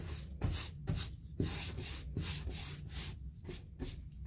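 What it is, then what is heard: Paint brush stroked across a molded fiberboard door. A bristle paint brush is swept back and forth across a white, painted, hollow-core, six-panel molded fiberboard interior door with a handle hole. The result is a steady run of dry, scratchy strokes, each a bright bristle rasp over a soft, low hollow thump as the brush reverses.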